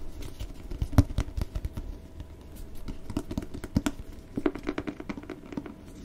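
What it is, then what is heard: Cloth-bound hardcover book. A solid red cloth-bound hardcover book with gold lettering is held in the hands while fingertips and nails scratch and tap its cover. Many quick, dull taps mix with soft scratching, mostly low and muffled with almost no brightness. Each tap dies away at once with no ring.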